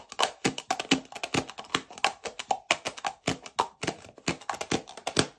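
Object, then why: Plastic cap on a metal aerosol can. Fingernails rapidly tap and click the orange plastic lid of a hand-sized metal aerosol shaving cream can with a blue label, held in one hand close to the microphone. About thirty short, sharp, bright clicks come in quick, uneven succession, each dying away almost instantly, with a light hollow knock beneath them. Together they sound like fast typing.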